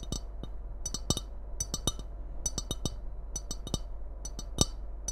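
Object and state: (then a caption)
Ceramic mug. Long red nails tap and scratch the outer surface of a tall, hollow white ceramic mug with a red Christmas print, held in both hands. About eighteen quick, bright clicks ring briefly with a high glassy tone, over faint scratching and a steady low hum.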